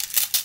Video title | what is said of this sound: Three Spoons | you can hear them moving around it's almost like when you shake it and you hear that sound